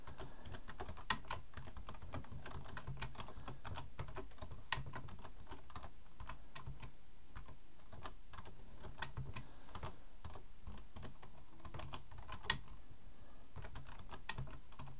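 Both hands type slowly with their fingertips on a black plastic full-size computer keyboard resting on a wooden desk. Short, dry key clicks tick out unevenly, with a few sharper taps standing out, over a steady low hum.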